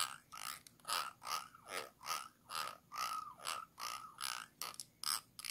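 A thin, stick-like tool scratches the ridges around the base and neck of a small, round, clear glass jar held upside down, hollow and empty. It makes a rhythmic series of short, bright, rasping scrapes, each carrying a faint ringing tone around 1.2 kHz, with brief quiet gaps between strokes.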